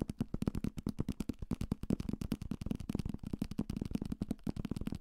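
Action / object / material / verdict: tap / thick paperback book, paper block with card cover / paper / none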